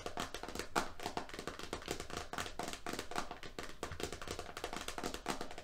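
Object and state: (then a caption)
Roll of painter's tape. Fingernails and fingertips of both hands tap quickly on a medium roll of FrogTape painter's tape, lying flat with its printed label cover on. A rapid, uneven patter of crisp clicks and soft dull thuds runs without a break, each tap dying out almost at once.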